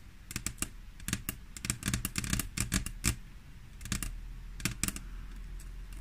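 Long natural nails on the fingertips of both hands tap and click on a large, flat, solid grey glass tabletop. Quick, sharp, bright clicks come in irregular bursts with short pauses between them, and each one dies away almost at once over a steady low hum.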